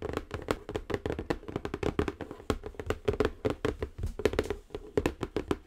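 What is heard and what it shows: Long acrylic nails tap rapidly and continuously on the top of a large, square, silver-printed Cocoro Zen Garden cardboard box that is closed and hollow. Each light, dry tap has a hollow resonance around 420 Hz and dies away almost instantly, with little bright content.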